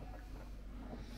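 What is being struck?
Nothing is struck.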